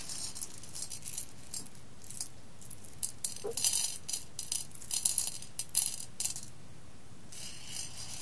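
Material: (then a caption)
Coffee beans. A hand scoops roasted coffee beans from a clear glass bowl and lets them fall back onto the pile and the glass. The result is a series of bright, dry rattling and clicking bursts, heaviest in the middle of the clip, with quiet pauses in between.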